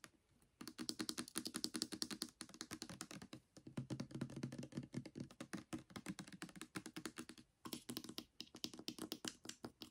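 A full translucent plastic pump bottle of Palmolive Naturals almond hand soap is held in hand and tapped quickly with the fingernails along its body and pump. The result is a rapid, dense stream of crisp, clicky taps with a bright edge and a hollow low-mid body, each tap dying away almost instantly. Brief pauses break the tapping near the start, around 3.5 seconds and around 7.6 seconds.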